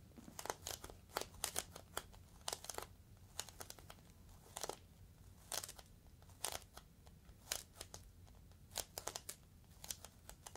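A clear, hollow, air-filled plastic air-column packaging cushion is squeezed and scratched with fingertips along its top edge. The result is a quiet series of sharp, bright crinkling and scratching bursts with very short decay, scattered irregularly over a low, steady background hum.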